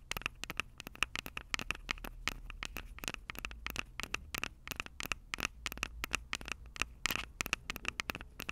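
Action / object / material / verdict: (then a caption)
scrape / plastic and metal handheld audio recorder / plastic, metal / none. Long purple acrylic nails scratch the two metal-grilled microphone capsules of a Tascam DR-05 handheld recorder with a plastic body. The result is a dense, rapid run of dry, bright scratches and crackly clicks with no ring, centred around 2.6 kHz, over a low steady rumble.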